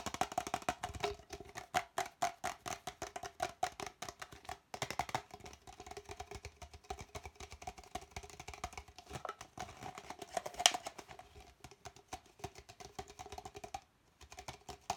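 An empty, hollow red plastic party cup is held in one hand and tapped rapidly with the fingertips and nails of the other hand. The result is a quick, dense stream of short, dry taps with a hollow tone around 700 Hz and bright clicky edges, with one sharper tap near the middle and a brief pause before the tapping resumes at the end.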